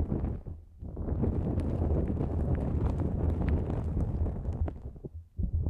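Long nails scratch and rub a pink-white, mesh-like nonwoven fabric drawstring pouch stretched over the microphone. It makes a dense, boomy, rumbling scrape with crackly ticks on top. The sound dips briefly near the start and again just before the end, then comes back.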